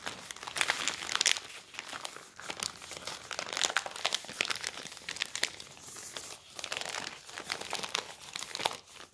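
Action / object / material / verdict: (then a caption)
scrape / newsprint newspaper sheet / newsprint paper / none. A thin newsprint newspaper sheet spread on a wooden table is lifted, crumpled and crinkled by fingertips, the paper rubbing against paper. A steady stream of bright, dry crackles and rustles rises and falls in irregular bursts, with almost no low end and no ring after each crinkle.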